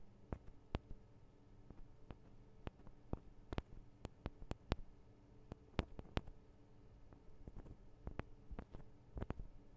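Long acrylic nails of both hands tap the small hollow metal microphone capsules on a Tascam DR-40 recorder. An irregular stream of quiet, sharp, dry clicks that stop almost instantly plays over a steady low hum, with a few taps standing out louder than the rest.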